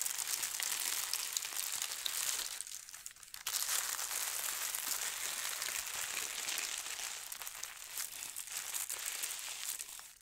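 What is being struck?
Thin tissue paper sheet.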